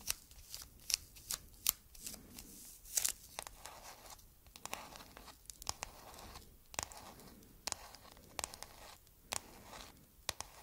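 Long nails tap and scratch on a clear hard plastic phone case printed with a cat and decorated with raised bead flowers. Quick, bright clicks land over a steady, hissy scratching texture, with brief quiet gaps in between.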